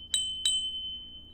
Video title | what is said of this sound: Busted 8 Track Player, Will It Play Again? - Vintage Hifi Revival | this thing is a giant piece of cast metal ... listen to that it just Rings like a bell absolute Beauty